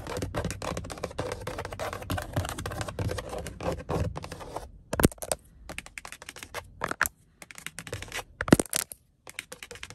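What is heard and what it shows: Long acrylic nails tap and scratch along the dark grey, grained plastic or vinyl upper trim of a car door panel, just below the side window, and the panel sounds hollow. For the first half there is a dense, continuous scratching rasp. It then gives way to sparser, sharp clicking taps with brief silences between them.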